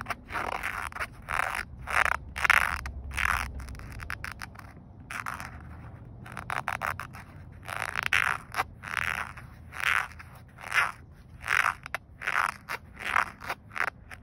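A single fingernail scratches back and forth across a grey woven polyester car seatbelt strap, a flat fabric band. Each stroke makes a short, dry, raspy scrape, bright and centered in the upper mids around 1.5 kHz with almost no low end. The strokes come in a steady rhythm with brief quiet gaps between them.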